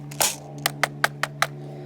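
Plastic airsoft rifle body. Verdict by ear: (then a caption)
Hard. Knuckles knock six times on the hard plastic body of a Valken ASL Model M airsoft rifle with its magazine removed, over a steady low hum. Each knock is a short, sharp, dry tap with almost no ring, sounding hard and solid even with the empty magazine space inside.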